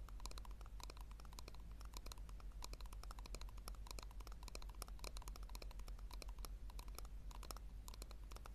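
Long nails tap rapidly on the base and sides of a small, hollow, round pink plastic tub held upside down. Quick, uneven, bright clicky taps run steadily over a constant low hum. Each tap is short and dry with almost no ring.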